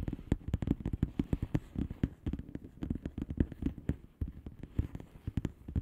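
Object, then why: Plastic bubble wrap envelope. Long painted fingernails on both hands tap and scratch across the air-filled bubbles of a flat blue plastic bubble wrap envelope lying on a surface. The result is a rapid, uneven run of short, dull, low-heavy taps, each dying away almost instantly, with soft scratchy rustling between them.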